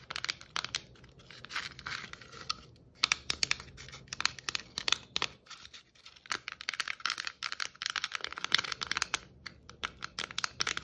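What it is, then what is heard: Plastic Christmas ornament ball. Long nails tap and scratch a hollow red and white striped plastic Christmas ornament ball held low in both hands. Quick, bright clicks mix with dry, scratchy rasps in dense bursts, each sound stopping short with almost no ring.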